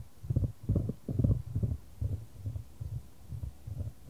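A solid, light wooden ball rolls around a shallow square wooden tray held in white-gloved hands, with the tray tilted to keep it moving. The result is a series of soft, low, muffled rumbling bursts that rise and fade in an uneven rhythm, with almost nothing in the high range.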